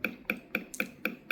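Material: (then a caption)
Wood. A piece of guitar tonewood sits in a small measuring device while a small device sends impulses into it, making six short, evenly spaced taps with a bright ringing tone near 2.4 kHz. A microphone records the wood's frequency response to measure the speed of sound through it.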